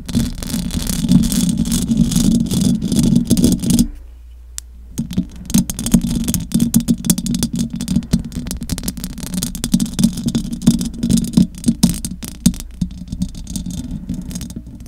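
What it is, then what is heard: Metal mesh microphone grille being scratched. Long acrylic nails scratch and tap the metal mesh grille of a large silver condenser microphone, producing a dense, rattling scrape with a strong low hum-like body and crisp bright clicks. The scratching briefly drops out for about a second near the four-second mark, leaving only a low drone, then resumes with irregular taps and scrapes until the end.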